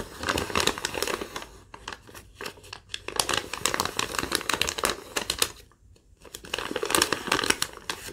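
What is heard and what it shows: A crumpled sheet of thin yellow lined paper is tapped and crinkled by long nails, then folded. Bursts of dense, bright crinkling and crackling come in waves, with brief quieter gaps between them.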